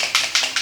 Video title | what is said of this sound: C'est quoi ? Damien teste et valide la Speedpaint Army Painter ! | il y a la bille dedans. C'est pré-chargé.